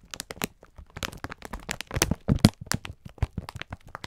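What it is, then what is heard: Plastic-wrapped pack of sponge scourers. A clear plastic-film pack of sponge scourers is held in both hands while the fingertips squeeze and rub it. The result is a dense run of short, sharp crinkles and crackles with a low, soft body and bright edges, rising and falling in intensity throughout.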